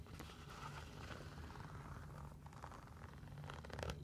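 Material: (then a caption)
Synthetic mesh. Long nails scratch along the synthetic mesh fabric upper and laces of a single hollow athletic sneaker. The result is a quiet, steady scratchy rasp over a low purring rumble, with brief brighter scrapes near the end.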